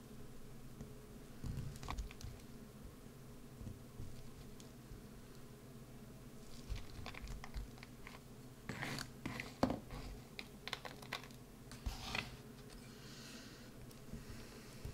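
A wood-handled carving tool scratches and gouges the hollowed face of a solid green bar of soap. Soft, dry scraping is broken by scattered crisp, crumbly crunches, with brighter bursts clustered toward the middle and end. Each scrape stops short, with almost no ring.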